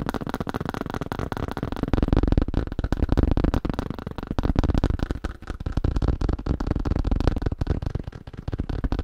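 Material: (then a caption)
Plastic. Fast fingertip tapping on a thin plastic sheet makes a rapid, uneven stream of dull, low-heavy taps with no ring. The tapping runs continuously throughout, with no voice.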